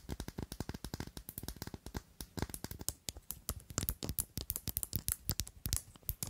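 Long nails tap and scratch a thick, faceted clear glass perfume bottle with a square silver cap. The result is a rapid, uneven stream of short, dry clicks and scrapes across the cut glass, each dying away almost instantly with no ringing.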